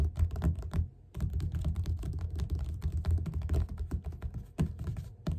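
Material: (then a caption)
Paper. Both hands tap rapidly with the fingertips on the cover of a yellow paperback book lying flat and solid. The result is a quick, steady patter of dull, low, short thuds, with a brief pause near the start.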